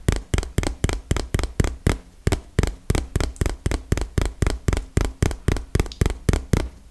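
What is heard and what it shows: A small, hollow, printed cardboard retail box is tapped rapidly with long fingernails, giving 26 sharp, dry taps in a loose, uneven rhythm. Each tap pairs a low, hollow thump with a bright fingernail click and dies away almost instantly.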